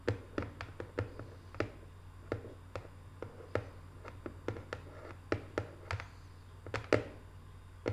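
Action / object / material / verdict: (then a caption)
tap / small cardboard box / cardboard / none. Long manicured nails tap the lid and edges of a small, closed, hollow rectangular cardboard box covered in Paris photo prints, with a small figurine on the lid. About two dozen soft, quick, hollow clicks with almost no ring sound at an irregular pace over a steady low hum.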